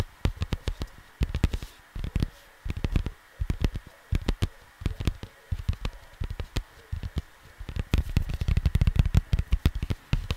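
Fingers and nails tap and scratch across the printed surface of a flat cardboard LP record sleeve. The result is quick, dry, muffled taps with deep low thuds, arriving in rapid bursts separated by short pauses, with a denser flurry near the end.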